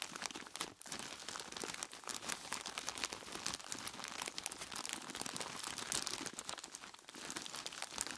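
In dim light, dark-gloved hands squeeze and crinkle a large clear plastic bag full of ice cubes from both sides. The result is a dense, continuous stream of bright plastic crinkling and crunchy shifting of the ice. The sound has almost no low end, with only brief dips in loudness throughout.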